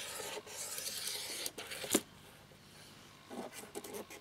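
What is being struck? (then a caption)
Plastic laptop keyboard without keycaps. A cotton swab scrubs the exposed translucent plastic key mechanisms of a plastic laptop keyboard frame with the keycaps removed. The result is a dry, bright rubbing and scratching with a sharp click-like scrape near the middle. After a quieter pause, short scratchy strokes follow.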